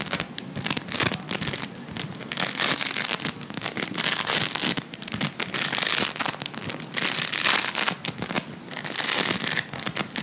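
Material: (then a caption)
Foam beads. Fingertips squeeze, knead and pull apart a soft, solid, hand-sized lump of blue Playfoam made of foam beads in a sticky binder. It makes dense, bright crackling and crinkling in quick, uneven bursts for the whole clip, with almost no low end.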